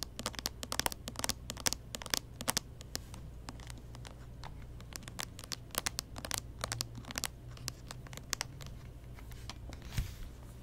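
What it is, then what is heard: Plastic handheld game console. A small closed pink-and-white plastic Nintendo 3DS XL with stickers, hollow and held upright in both hands, is tapped and scratched with long painted fingernails on its lid and edge. Quick, dry clicking taps and scratchy rasps come in dense, uneven bursts with bright, high-reaching edges and no ring. Under them runs a steady low hum, and near the end there is a slightly louder, fuller tap.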